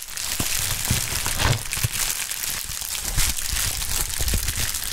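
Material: Plastic.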